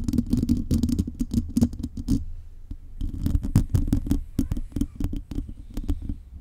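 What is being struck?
Metal mesh microphone grille.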